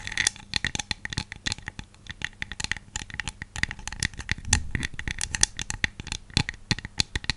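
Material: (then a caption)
Ceramic. Long nails tap and scratch over the purple hat and body of a small, hollow, glossy snowman figure jar with a purple hat and scarf that looks like glazed ceramic. A rapid, irregular stream of sharp clicky taps with a bright, glassy ring around 2 kHz dies away almost instantly, with soft scratchy rustling between the taps.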